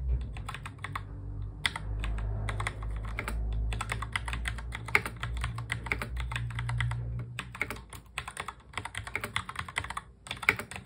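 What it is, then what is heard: Plastic mechanical keyboard. Fingertips of both hands touch-type fast on a full-size black plastic mechanical keyboard, producing a rapid, uneven stream of sharp, bright key clicks with short pauses between bursts. A steady low hum sits beneath the typing for the first seven seconds and then drops away, leaving the clicks more exposed toward the end.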